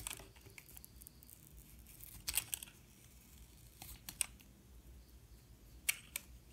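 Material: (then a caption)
Soap. A metal utility knife blade shaves slices off the surface of a solid yellow-and-white bar of soap held in the hand. Quiet, crisp, bright scraping and cutting bursts come in short strokes, with a few sharper slices standing out over a soft, low background.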